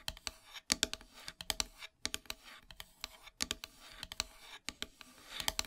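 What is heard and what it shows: Long silver nails tap and scratch across a flat, solid black painted wooden heart plaque. A rapid, uneven series of short, dry, bright clicking taps is heard, with soft scratching between them and almost no low end.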